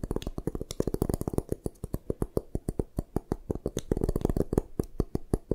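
Long nails rapidly tap and scratch the sides of a solid white gym chalk block held upright in both hands. Dozens of quick, dull, low-heavy taps follow in a steady irregular rhythm, each with a brief clicky edge and almost no ring.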